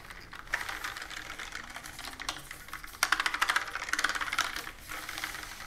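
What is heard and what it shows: Fingertips with long nails type continuously on a pastel plastic mechanical keyboard with round keycaps resting on a wooden table. Quick, dry plastic clicks and clacks come in an irregular stream with almost no ring. The typing is soft at first and then becomes louder and sharper from about the three-second mark before easing off again.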